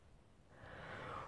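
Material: Nothing is struck.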